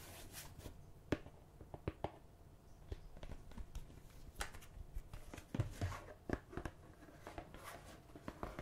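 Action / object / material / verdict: tap / plastic margarine tub / plastic / none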